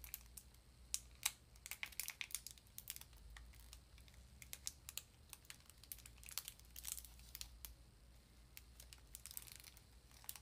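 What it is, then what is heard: Small cardboard box. A small cardboard sardine box is held in both hands and tapped and scratched with long nails. Many quick, bright, crinkly clicks and scrapes come in uneven bursts over a soft, steady low hum, all at a quiet level.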